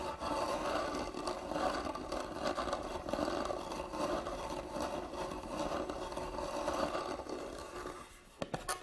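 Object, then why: Hand-carved wooden box. A medium, hollow, hand-carved wooden box has its lid scratched steadily with nails, giving a continuous dry scraping rasp with a hollow midrange body. Near the end the scraping fades, the box is tilted up, and a few sharp knocks and scratches land on the carved lid.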